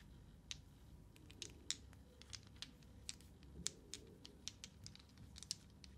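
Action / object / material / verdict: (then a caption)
tap / small plastic dice / plastic / none. Small, glowing green, solid plastic dice are held in a cupped hand, shaken and clicked with fingertips and nails. The result is a quiet, irregular series of sharp, bright clicks that stop instantly, over a faint low background hiss.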